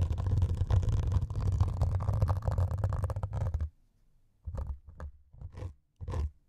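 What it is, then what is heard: Melamine foam sponge scratched with metal needles. Two metal needles scratch the grey abrasive top of a white melamine foam sponge resting on two microphones. A dense, steady scratching rasps with a deep, muffled rumble for almost four seconds, then stops. After a brief silence come four separate short scraping strokes.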